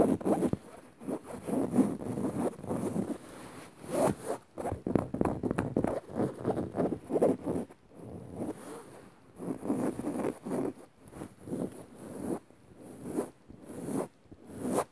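Long light-coloured nails and fingertips scratch across the dark grey woven fabric of a soft, padded upholstered seat cushion. The result is a run of dry, raspy scraping strokes with a fuzzy midrange body and a faint bright hiss on some passes, separated by short pauses. The strokes vary in length and loudness throughout.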